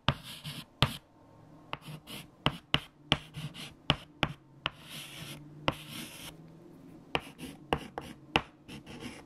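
A hand writes a 7 times table on a large flat black chalkboard with a white chalk stick. About 15 sharp, bright chalk taps are heard, with bursts of dry, hissy scratching between them as the strokes are drawn. A faint, steady low hum runs underneath throughout.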